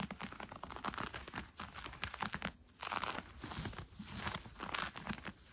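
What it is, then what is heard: Cotton fleece sweatpants. Red-painted fingernails scratch along the gathered elastic waistband of brown cotton fleece sweatpants being worn. The result is a quiet, steady stream of dry, crinkly rasping strokes with bright, airy texture, briefly pausing just past the midpoint before continuing.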